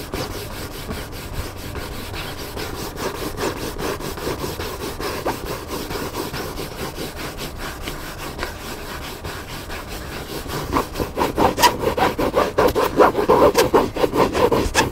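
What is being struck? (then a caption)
Hardcover book with paper cover. Fingertips and nails scratch the paper cover of a large black hardcover book lying flat on a table. The result is a steady, rhythmic, raspy rubbing, like quick sawing strokes centered in the midrange. About two-thirds of the way through, the strokes grow louder and more pronounced.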